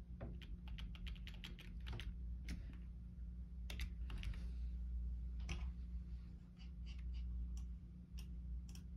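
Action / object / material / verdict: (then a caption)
tap / plastic computer keyboard / plastic / none. Fingertips tap rapidly on the hollow keys of a black plastic Logitech keyboard as a hand moves across them, producing irregular bursts of light, bright clicks. A steady low hum sits underneath the typing throughout.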